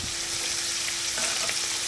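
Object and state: Nothing is struck.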